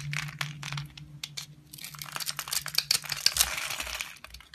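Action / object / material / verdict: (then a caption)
scrape / laundry bar soap cut with a knife blade / soap / none. A utility knife blade cuts and scrapes small cubes off a solid rectangular brown laundry soap bar that is scored into a grid and held in the hand. Dense, bright, crisp crunching and scraping clicks come in quick irregular bursts over a faint low hum, growing busier and louder toward the end.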